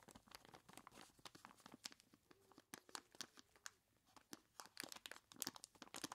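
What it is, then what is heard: Plastic bag of ice cubes. A large clear plastic bag full of ice cubes is squeezed and rubbed by hands in skeleton-claw gloves. Quick, bright plastic crinkles and crunching ice come in dense, short bursts with brief pauses. The sound is quiet overall, with most of its energy in the high range.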